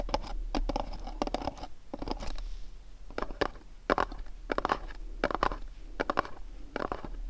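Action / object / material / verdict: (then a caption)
scrape / small printed cardboard candle box / cardboard / none. Fingernails tap and scratch the top and sides of a small, dark, printed cardboard candle box resting on a cloth. Quick, dry clusters of taps alternate with scratchy scrapes over a faint low hum. Each contact stops at once, with no ring.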